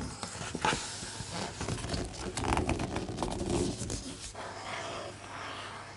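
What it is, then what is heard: Glossy-paged art book, rubbed and page turned. Fingertips trace and rub over the images in an open, large hardcover art book with thick, glossy coated paper pages, then a page is turned. Soft, dry, papery swishing and rustling fills the clip, with a brief sharper rustle near the start and a busier stretch of scraping in the middle. The sound settles into a quieter, smoother rubbing toward the end.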